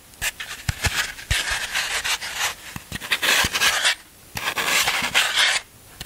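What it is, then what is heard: Floral foam block being scraped. A black tool is repeatedly scraped and rubbed along the face of a large, solid block of green floral foam held in the hand. It makes bright, crumbly rasping in uneven bursts, with sharp little clicks and thuds scattered through and brief quiet gaps between strokes.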